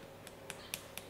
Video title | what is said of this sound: BATTLE LIP GLAZED TERBAIK - HANASUI WARDAH MAKEOVER | enggak terlalu kerasa kecuali diginiin tapi intinya lebih beratlah